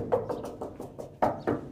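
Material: Steel.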